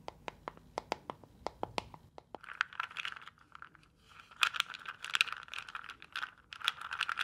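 A small neon-green translucent plastic box filled with round gel water beads is held in both hands, tapped with long painted nails, and then shaken. Sharp, quick clicking taps come first, then give way to a dense, bright, rattling swish as the beads slosh and tumble inside the box.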